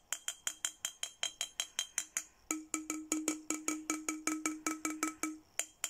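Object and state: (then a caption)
Glass bottle tapped. A thin red plastic stick taps along the body of a clear, empty, hollow glass milk-style bottle with a printed Hello Kitty design, held in one hand. About 29 quick, bright clinks come in a steady rhythm, each with a short, high glassy ring over a low tone that grows stronger in the second half.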